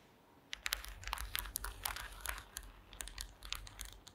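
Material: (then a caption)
Wood. Long green acrylic nails tap and scratch across a woven wooden slat mat, making a quick run of sharp, bright clicks and dry scraping over a low steady hum. The taps are short and dead, with no ring after each strike.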